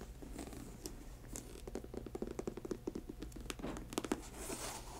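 Long acrylic nails tap and scratch the glossy upper and the sole edge of a grey patent leather high-top sneaker with a white rubber sole, and the shoe is tilted. The result is a quick, uneven run of sharp, dry clicks over a soft scratchy rustle and a faint low hum.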